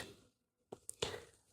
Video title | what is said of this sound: Lec-4: Classification of Toys | These tiny beads inside make a sound when the child moves it.